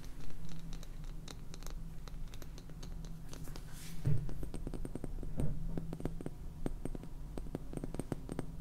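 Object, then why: Small plastic jar of salt with plastic lid. Painted fingernails scratch and tap on the purple plastic lid and sides of a small clear plastic jar filled with white salt. Quick, dry clicks and scratchy taps come in irregular clusters over a steady low hum, with a few brighter, sharper taps standing out midway.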